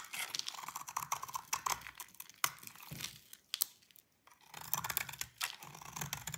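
A utility knife blade scrapes curled flakes off a solid white bar of dry soap held by fingers with long pink nails. The sound is a dense run of crisp, bright scraping and crackling with sharp, quick-decaying ticks. A brief near-silent pause falls just after the midpoint before the scraping resumes.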